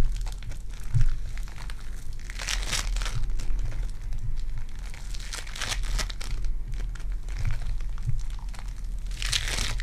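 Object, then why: Lump of foam bead clay. A small lump of purple foam-bead clay is squeezed and pinched between fingertips, giving dense, continuous crinkling and crunching with bright bursts of crackle. A steady low rumble sits underneath, and the level stays fairly even throughout with short, quickly fading pops.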